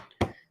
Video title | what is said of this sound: Fluid Art Thursday, good old fashioned dirty pour | you can hear that it's tight. Sounds like a drum. That's a good thing.